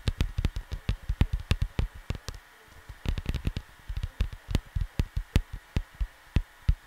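Fingertips of both hands tap on a cardboard LP jacket, a vinyl record sleeve, making about 33 short, dull, low thuds with almost no ring. The taps come in quick uneven runs, with a brief pause just before the 3-second mark before the tapping resumes.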